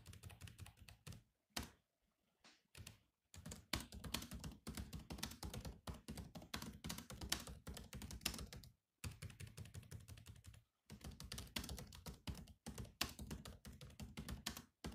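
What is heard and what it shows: Fingertips of both hands type rapidly on the low-profile plastic chiclet keys of a grey metal-bodied laptop. Dense runs of short, dry clicks carry a soft low thump under a bright tick. The bursts are broken by brief pauses, notably near 2 to 3 seconds and again around 9 and 11 seconds.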